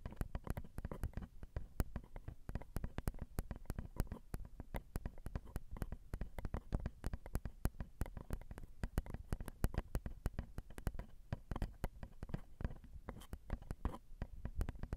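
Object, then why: Metal microphone capsules on a handheld recorder. Long acrylic nails tap the small, hollow, crossed silver metal X/Y microphone capsules on a Zoom recorder. Quick, dense taps come through as soft, deep thumps with almost no ring, each one dying away at once. The tapping runs steadily and quietly throughout.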